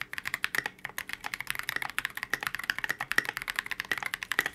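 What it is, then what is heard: Polycarbonate mechanical keyboard. Continuous two-handed fingertip typing on a transparent polycarbonate KBD67 Lite mechanical keyboard with C³ x TKC Kiwi switches and Oblotzky SA Oblivion V2 keycaps. About thirty short, clacky keystrokes are heard in a fast, steady rhythm, each bright and snappy around 1.9 kHz with almost no low end and very quick decay.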